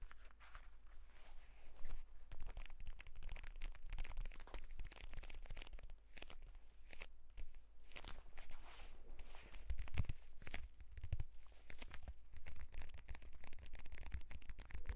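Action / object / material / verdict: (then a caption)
scrape / leather-covered tablet folio case / leather / none. Fingertips and short nails rapidly tap and scratch the cover of a purple pebbled leather (possibly faux) folio tablet case with a stitched spine, lying flat and closed on a bedsheet. A dense, continuous stream of quick dull taps and bright, crunchy scratching runs throughout over a steady low rumble, with occasional louder strikes.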